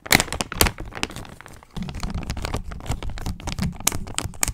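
A clear, thin, empty hand-sized plastic zip-lock bag, held in front of the microphone, is crinkled and crumpled by fingertips with long nails. The result is a dense run of sharp, bright crackles over a low rustling bed. The loudest snaps come near the start.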